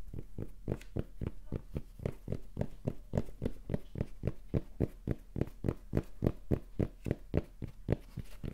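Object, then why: Cotton baseball cap. A red, soft and hollow cotton baseball cap with the Rapala logo is tapped and scratched on its fabric with fingertips and nails. About 32 quick, dull, low thumps sound in a fast, fairly steady run, each brief with a faint bright scratch at the edge and no ring.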